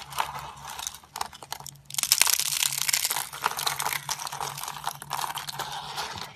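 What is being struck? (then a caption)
Thin sheets of hard soap. Fingertips press down on stacked thin sheets of dry, hard yellowish soap on a grey tray, breaking and crumbling them into flakes. Bright, crisp crunching and crackling comes in dense bursts, growing louder and fuller after a quieter start.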